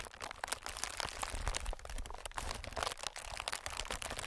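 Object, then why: Inflated plastic film air pillow. Fingertips of both hands tap and scratch a clear, inflated plastic-film air packing pillow. A continuous stream of quick, dry crinkles and crackles comes through, bright on top with soft low thumps underneath. Each tap dies away almost instantly.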